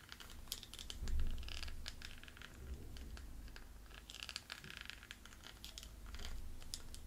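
A small, round, hollow jewelry box covered in gold beads and rhinestones is held in one hand while a wooden pencil taps and scratches across its beaded surface. Quick, crisp clicks and bright, scratchy rattles come in dense bursts over a soft, low rumble that swells briefly near the start and again near the end.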